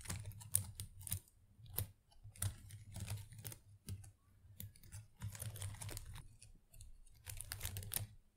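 Long acrylic nails scratch and rustle through the small plastic leaves of an artificial potted plant, making quick, crisp clicking and crackling bursts with bright edges over a low, dull rumble. The bursts come in irregular clusters with short quiet gaps between them.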